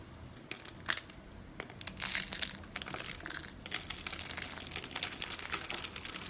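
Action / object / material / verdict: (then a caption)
scrape / rolled soap curls / soap / none. Fingertips with long nails squeeze a small rolled curl of dry pink and green soap on a stone countertop, next to other pink, green and blue soap curls. It crushes into brittle flakes that scatter around the other rolls. The result is dense, bright, dry crunching and crackling, with sharp crisp snaps over a continuous fine crinkle and almost no low end.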